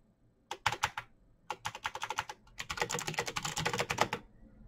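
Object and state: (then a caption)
Plastic mechanical keyboard. Both hands type with their fingertips on a backlit plastic Razer BlackWidow mechanical keyboard with clicky green switches, pressing the keycaps. Sharp, bright clicks come in three quick bursts of typing, with the last burst denser and faster. Each click stops almost instantly, with a short pause before the last burst.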